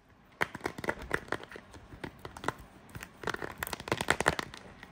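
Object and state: Plastic phone case tapped and scratched.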